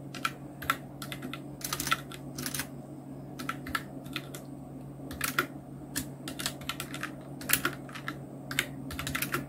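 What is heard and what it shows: A full-size black Nubwo Illution NK-70 mechanical keyboard with Outemu red switches, round plastic keycaps and blue backlighting is typed on continuously with the fingertips of both hands. Quick bursts of short, bright plastic clacks come in uneven clusters with tiny pauses between them, each keystroke dying away almost instantly. A steady low hum around 150 Hz runs underneath throughout.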